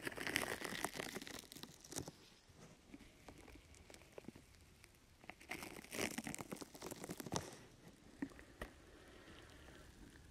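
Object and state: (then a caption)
Foam rubber grip mat. A brown, open-weave, sticky foam rubber grip mat is draped over a microphone while hands with long nails pat, scratch and grip its sides. Dense, bright, crackly crinkling and tearing-like scratches fill the first two seconds and again around six to seven and a half seconds, with quieter rustling in between. A few sharp isolated taps follow near the end.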